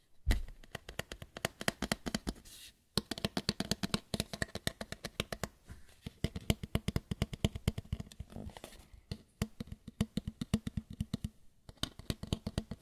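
A white lampshade is tapped and scratched with no talking, giving rapid bursts of short, dry taps with a soft low thump and bright clicky edges. The tapping runs in quick rhythmic runs, pausing briefly near the three-second mark before continuing steadily to the end.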